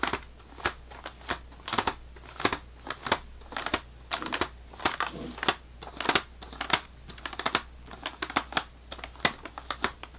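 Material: Plastic wrap.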